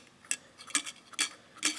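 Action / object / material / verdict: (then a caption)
shake / metal coin shaken against an aluminum drink can / aluminum, metal / empty. A quarter held loosely over the seal of an empty aluminum drink can is shaken, making the coin seem to be inside. It produces short, bright metallic clicks and rattles in quick bursts with almost no low end. The sound is faint because the can is empty; it would sound different if the can were full.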